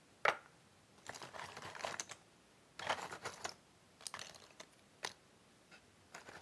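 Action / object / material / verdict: shake / cardboard jigsaw puzzle pieces in a box / cardboard / none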